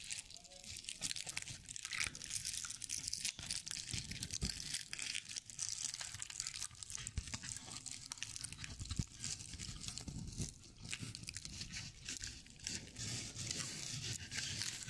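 Long painted nails scratch the dry straw fibers of a decorative owl figurine held between both hands. The result is a steady, bright, crackling and crunchy rustle lasting about fifteen seconds, with dull low thumps from handling underneath.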